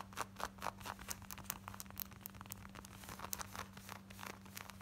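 Long nails quickly scratch the seams and back pocket of worn, light blue distressed denim shorts. A fast run of short, dry, bright scratching strokes rasps over a steady low hum.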